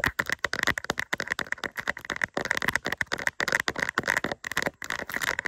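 A small, flat, doll-shaped diamond-painting sticker covered in resin rhinestones on a thin, solid plastic backing is held in both hands and scratched with long acrylic nails. The scratching makes a rapid, continuous run of dry, crackly clicks and rattling scrapes, bright and centered around 2 kHz with almost no low end. Each click stops short with no ring.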